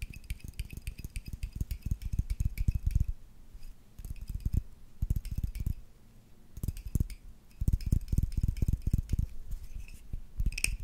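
A small, hollow faceted glass tumbler holding a little yellowish liquid is held in one hand and tapped and scratched with the fingertips and nails of the other. Quick, irregular, dull taps come in bursts with short pauses, over faint bright clicks and scratching and a thin glassy ring.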